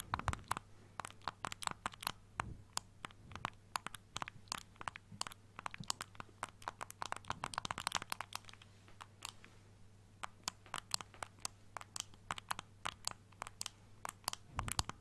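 A single small pastel blue-green plastic Nintendo Switch Joy-Con controller, hollow with buttons, is held in one hand near the mic and tapped and scratched with fingertips and nails. Rapid, dry, bright clicks and scratchy crinkles come in irregular bursts over a faint steady low hum for the full fifteen seconds.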